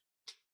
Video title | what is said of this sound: Puzzle Time Ep 133 looks at the Bomb Destroyer, Taiji, Stereo gram, and Don't Count On It. | you can hear it rattling around when you shake the puzzle and you can even hear what end it's in